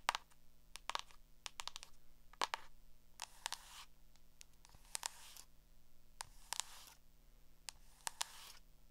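Long acrylic nails tap and scratch the cover and page edges of a small black hardcover spiral notebook held in the hand. Quick, sharp, bright clicks are broken up by short, hissy scratching swipes over a faint low hum. The sounds are quiet and dry, with no ring after each tap.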